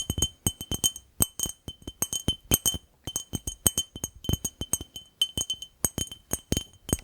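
A glass jar is tapped in a quick, uneven series of about 39 light taps, each giving a bright, clear glass clink. The clinks ring high and bright but die away almost at once.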